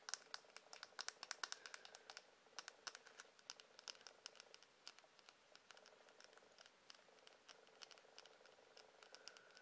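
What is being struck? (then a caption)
Wooden hairbrush. Quiet, rapid tapping on a wooden hairbrush produces dry, sharp clicks and light scratchy patters. The hits are bright and high-pitched with almost no low end, and each dies away almost instantly over a faint hiss.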